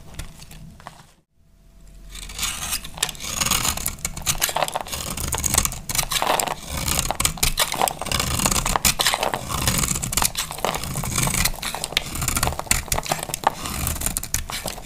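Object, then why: Bar of soap scraped with a blade. A hand-sized, solid brown speckled bar of dry soap is scraped with a utility knife blade, piling crumbly shavings up on the bar. After a brief quiet gap near the start, dense, dry, crackly scraping with bright, crisp edges runs continuously.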